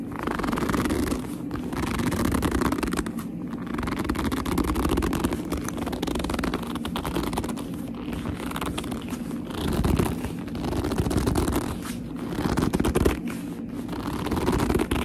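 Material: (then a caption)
Leather. Long nails grip, squeeze and rub a hollow black leather handbag with a flap. A steady run of squeaky, creaking leather friction, mostly low and muffled with little bright content, swells and eases without clear separate hits.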